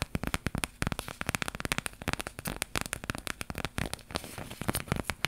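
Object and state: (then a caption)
Embroidered fabric flower patch. A small, flat iron-on patch of stitched thread on fabric, shaped like an embroidered flower, is held up in both hands and scratched and tapped with long pink nails. The result is a dense run of short, dry, crackling taps and scrapes that are bright and textured, with no ring after each contact.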